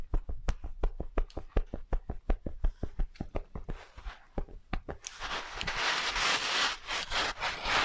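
Fingertips and nails rub and scratch the long grey-white faux fur of a medium soft plush sloth toy. For about five seconds there is a quick, fairly steady run of short dry scratching strokes with soft low thuds. The sound then turns into a continuous, brighter, hissing scrape of fur being rubbed until the end.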